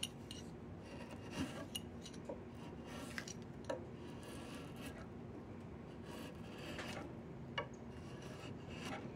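A flat chisel scrapes along a solid diamond willow walking stick, making a steady, rasping, filing-like scrape with a dense low rumble and bright upper texture. A few sharper clicks stand out above the continuous scraping, each dying away almost at once.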